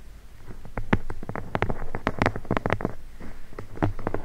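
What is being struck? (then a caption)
Leather-bound book spine. Long blue nails tap and scratch along the spine of a red leather-bound book held spine up. A run of quick, soft, dull taps mixes with brief scratchy brushing over a low, muffled body. Each tap dies away almost at once.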